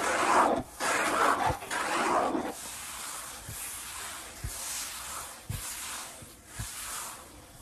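Fingertips slowly rub and tap a large, solid wood-grain tabletop. The clip opens with louder, breathy swells of rubbing across the surface, then settles into a quieter hiss punctuated by soft, dull taps, two of which stand out sharply near the end.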